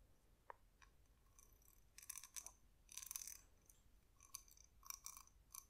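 A glossy, spotted, palm-sized hollow cowrie shell, its toothed opening visible, is tapped and scratched with long nails. The result is quiet, sharp, bright clicks and brief crisp scratching bursts with a high ring that dies away almost instantly.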